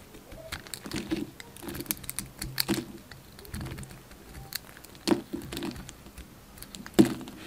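A hand-sized solid white bar of soap with a dark blue outer layer is held in the hand and carved with a yellow utility knife blade. Soft, irregular scraping and crumbly pattering fill the clip, broken by a few sharper, louder cuts that give brief bright crackles.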